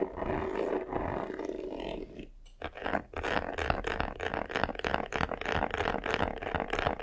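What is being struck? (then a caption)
Croc-textured faux leather covered box. Fingernails scratch the top and upper front of a medium black vanity case, a hollow box covered in croc-embossed, croc-textured faux leather. A steady, rough midrange rasp runs for about two seconds and stops briefly. It then turns into quick, rhythmic strokes, about three per second, with a papery hiss that reaches into the highs.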